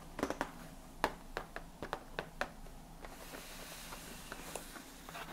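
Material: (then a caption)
Cardboard. Fingernails tap and scratch the closed lid of a large printed cardboard Ahmad Tea gift box, filled with tea packets and resting on a lap. About eleven short, dry, papery clicks with a bright edge come in an uneven series over the first two and a half seconds. They give way to softer, hissy scratching across the lid, with a few faint taps.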